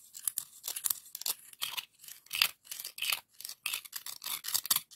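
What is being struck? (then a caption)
Scallop seashell. Scraping the edge of one scallop shell across the ribs of a hollow pink ribbed scallop shell gives a quick run of dry, raspy scrapes and rubs. The sound is bright and high, with almost nothing in the low end, and it comes in short bursts separated by brief gaps.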